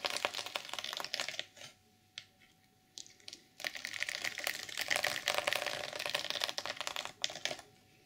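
Long purple nails scratch across the black and silver plastic sequins of an open reversible sequin fabric journal cover, flipping them. The result is bright, dense clicking and rustling scratches in quick bursts, with a few short quiet pauses in the first half before a longer, steady stretch of scratching to the end.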